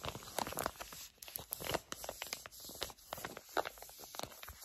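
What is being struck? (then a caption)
Plastic/foil laminate sheet mask pouch. A flat pink and blue sheet facial mask pouch of plastic/foil laminate is crinkled and scratched with long acrylic nails. Dense, bright crackling and sharp crinkles come in quick irregular bursts, with short scratchy strokes between them and almost no low end.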